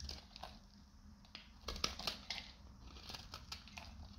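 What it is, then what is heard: Dry, brittle soap bar being shaved. A metal utility knife blade shaves a solid, hand-sized, dried green soap bar with a gold-coated side into brittle flakes. The sound is a series of crisp, bright crunching and crackling scrapes with a soft low rumble underneath. Each scrape snaps off quickly and leaves no ring.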